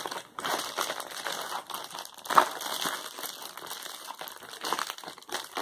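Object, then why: Plastic poly bubble mailer. A flat, closed Amazon Prime poly bubble mailer with contents inside is handled with the fingertips and crinkled between both hands. The result is a steady, dry plastic crinkling with dense crackles centered in the midrange and a bright hiss on top, with a sharper crunch about halfway through. There is no low-end weight, and each crackle dies away almost instantly.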